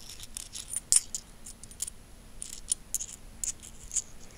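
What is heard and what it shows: A small stack of solid metal coins is held between fingertips while the fingers click and rub their edges together. The result is a quiet, uneven series of bright, sharp metallic clicks with soft scraping between them, each click dying away almost at once.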